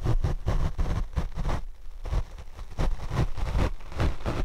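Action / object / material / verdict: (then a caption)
scrape / foam microphone windscreen / foam / none. A paint brush sweeps across the black foam windscreen on a Rode microphone, producing a steady run of soft, muffled brushing strokes. The sound is a heavy, low rumbling scrape with almost no high content, rising and falling with each pass of the bristles.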